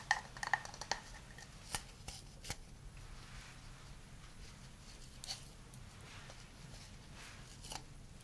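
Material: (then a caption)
Wood. A hand-sized hollow wooden cup is held in both hands and tapped and scratched with fingernails. Crisp, short clicks come in an irregular cluster at the start, then sparser taps over a soft scratchy hiss. The taps ring with a faint pitch near 1.8 kHz and have bright high edges.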